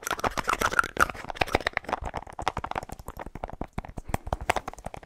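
Fingernails tap rapidly on the light blue plastic cap of a small white plastic deodorant tube. The result is a fast, uneven run of short, dry clicks with a bright, hollow plastic tick around 1.4 kHz, each dying away almost instantly.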